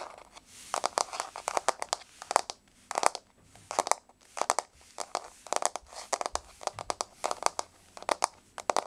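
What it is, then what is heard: Laminate floor tapped with fingernails. Long polished nails tap quickly on a flat, solid wood-look laminate floor with a wood-grain finish. The result is bursts of short, dry, bright clicks in quick clusters with brief pauses between them, and no ring after each tap.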